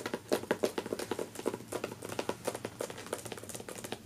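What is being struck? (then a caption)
Hardcover book with glossy paper dust jacket. Long natural nails and fingertips of both hands tap and scratch the glossy paper dust jacket on the front cover of a medium hardcover copy of "Touch the Earth," which lies closed and flat on a fabric couch. About two dozen quick, light clicks and soft scrapes patter along unevenly, each with a dry, papery tone and almost no ring.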